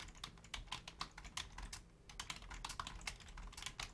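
Long painted nails and fingertips type on a full-size black plastic Logitech keyboard with low-profile keys. The result is a quick, uneven run of sharp, bright clacks and clicks with a brief lull near the middle, each keystroke dying away almost at once.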